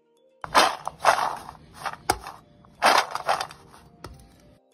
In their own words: দেখেছেন কেমন ঝনঝন শব্দ হচ্ছে। ভেতরেও শুকিয়েছে শুটকি গুলো।